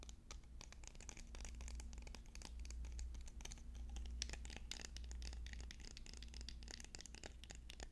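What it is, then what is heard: Wooden pencils. Fast, irregular tapping on wooden pencils produces a dense stream of short, dry clicks with bright, crisp upper tones. A steady low hum runs underneath, and no voice is heard.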